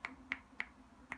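Four knuckle knocks on the housing of a compact 65W FINSIX Dart laptop charger give short, sharp, bright taps centered near 2 kHz with almost no low end, each dying away almost instantly. The housing sounds solid, like a heavy-duty charger.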